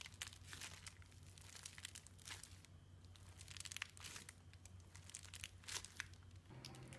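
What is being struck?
Foam bead slime in a bowl.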